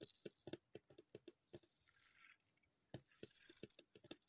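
Long purple nails tap a small, hollow white plastic cosmetic bottle with a printed label, held upright. The result is a run of quick, light, bright clicks and ticks with a high hiss, a brief pause midway, then more rapid tapping.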